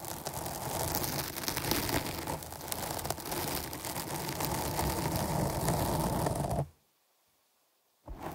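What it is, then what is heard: Foam microphone windscreen being scratched. Long nails scratch the sides of a dark foam microphone windscreen cupped in both hands, making a dense, rough, crackling rustle with deep rumbling thumps and bright scratchy detail. The scratching runs steadily for about six and a half seconds, then cuts to near silence for over a second before briefly starting again.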